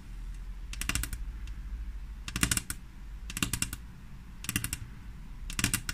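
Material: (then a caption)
Glass. Long fingernails of both hands rapidly tap a flat, solid glass tabletop in five quick bursts of sharp, bright clicks. Each click dies away almost instantly, and a steady low hum sits underneath throughout.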